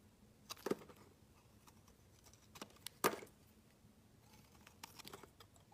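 A metal utility knife blade scrapes and shaves a solid dark grey rectangular bar of soap, curling off shavings. Quiet, irregular, crisp scraping clicks come in sparse bursts, each brief and dry with almost no ring, the loudest cut landing near the middle. Between strokes there is only a faint, soft hiss.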